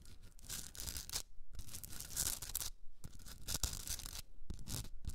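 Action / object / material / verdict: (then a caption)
scrape / rock salt candle holder / rock salt / none. Long red nails scratch the top rim and sides of a hand-sized pink Himalayan salt rock candle holder with a hollowed top. Bursts of bright, gritty rasping come in quick strokes with a low rumble underneath. They are separated by a few brief near-silent pauses.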